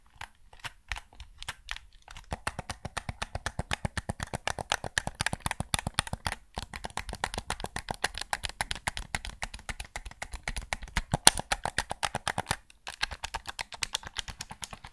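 Fingertips click the buttons and tap the body of a white PS5 DualSense controller, a hollow, hand-sized controller made of hard plastic. Rapid, short, dry clicks and taps run in quick, uneven bursts with brief pauses. The sharp plastic ticks have a bright edge and almost no ring.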